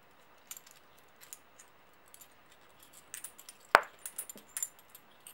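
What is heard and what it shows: A small stack of solid brass-coloured metal coins, held in an open palm, is shuffled and clinked together by the fingers of the other hand. Soft, scattered jingles and light metallic chinks sound with bright, high ringing and very short decay. The clinks grow busier in the second half, with one sharper, louder clink near the middle.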